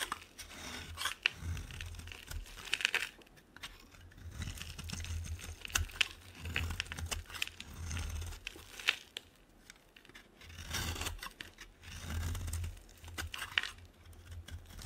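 A metal blade with an orange handle scrapes crumbly flakes off a solid white bar of soap held in the hand. The result is dry, crackly, bright rasping and crunching strokes that come in bursts, with a low rumble underneath and brief quiet gaps between passes.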